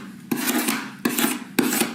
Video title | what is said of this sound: art class with jerry compilation 2022 | it definitely sounds like metal